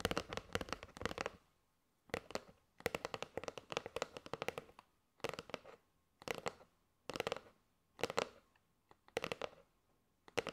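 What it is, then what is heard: Cardboard box of paper straws. Fingernails tap rapidly on a kraft cardboard box with a plastic window, full of paper straws, while both hands hold it. Bursts of quick, crisp clicky taps with a hollow mid-range tone come in clusters separated by short pauses.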